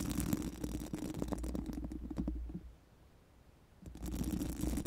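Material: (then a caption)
Metal mesh. Four pink silicone mascara wands, held in both hands, are rubbed and scratched over a large, hollow, round mesh metal microphone grille. The result is a dense, rapid scratching and rustling with a heavy low rumble. It drops to near silence for about a second midway, then resumes.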